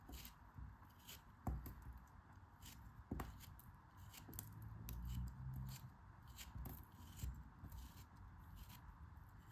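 A hand with long dark nails holds a solid lump of yellow kinetic sand while a craft knife blade slices and scrapes through it. Soft, grainy crunching and scraping sit mostly low, with occasional sharp bright ticks as the blade cuts. The quiet, dry sounds die away almost at once.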